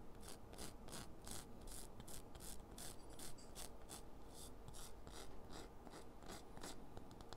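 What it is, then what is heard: Chalk stick grated on a metal file. A solid green chalk stick is rubbed back and forth over a purple metal foot-file grater lying on cardboard, throwing off chalk dust. Steady, rapid rasping strokes come through as short, bright, gritty scrapes over a constant low rumble.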